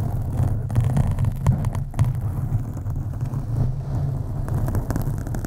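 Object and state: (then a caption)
Foam microphone windscreen being scratched. Long acrylic nails on both hands scratch a black foam windscreen on a USB microphone. The result is a steady, deep, muffled rumbling scrape centered low around 125 Hz, with almost no high-end content and frequent small bursts of louder friction throughout.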